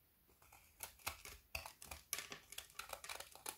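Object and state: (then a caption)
Frozen milk chocolate bar being shaved. A kitchen knife scrapes the edge of a narrow remaining strip of a solid frozen Figaro milk chocolate bar with hazelnut filling, held in the hand, shaving off brittle curls. A rapid series of crisp, bright scraping crackles rises from near silence and stays mostly in the high range, with little low-end body.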